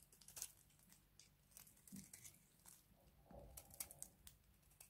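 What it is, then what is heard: Dry bar soap, crunchy. A small box-cutter blade scrapes a hand-sized, cream-colored solid bar of dry soap held in one hand. Quiet, bright, crunchy crackles and scratchy scrapes come in irregular bursts over a faint low hum. Crunchy shavings come off the bar.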